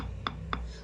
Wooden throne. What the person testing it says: आवाज जो आती है लकड़ी की उससे पता चल जाता है कि क्या क्वालिटी है।